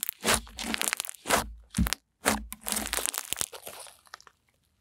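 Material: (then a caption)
Slime. Pink fluffy slime is pressed with fingertips and long nails, then stretched wide between both hands. It gives a series of crunchy, crackling bursts with bright, crinkly detail, separated by short pauses and fading out near the end.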